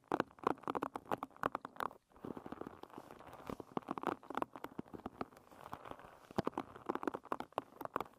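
Fingertips with red nails scratch and flick the wooden pins of a wooden-pin hairbrush. Quick, dry clicks and ticks come in bursts, with a brief pause, then a soft scratchy rustle runs beneath the flicks. The sound sits mostly in the midrange, with little low end.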